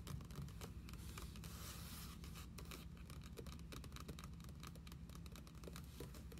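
Long acrylic nails tap and scratch the grey endpaper pages of a red hardcover journal lying open on a wooden table. Quick, dense taps and dry papery scratches run steadily over a constant low hum.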